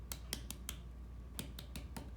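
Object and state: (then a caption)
Thin clay bowl bottom (deeper, more resonant tap). Eight light taps on the bottom of a clay bowl being trimmed sound as short, dry clicks over a low steady hum. The tone turns deeper and more resonant, showing the bottom has become thin enough that trimming should stop.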